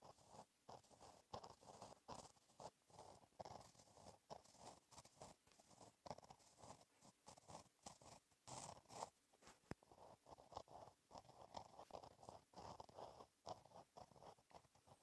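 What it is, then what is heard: Pen writing on paper. A gel pen tip scratches across a flat black lined paper page in a notebook while writing cursive. Quiet, dry scratching strokes come in steady, closely spaced bursts, with most of their energy in the midrange and faint bright hiss on top.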